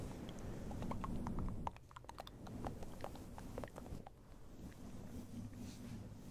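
Fingertips and nails scratch and rub a small, round, fluffy grey synthetic-fur windscreen covering a microphone. Close, muffled rustling and a low rumble are heard, with quick, crisp scratchy ticks. The sound drops quieter after the first couple of seconds and continues as softer rubbing.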